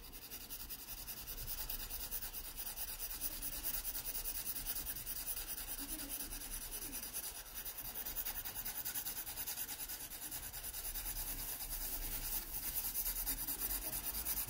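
A wooden pencil held flat on its side makes broad background hatching strokes across an open paper sketchbook page. Throughout, a soft, continuous scratchy rubbing is heard, with quick back-and-forth strokes blending into a steady bright rasp over a faint low rumble.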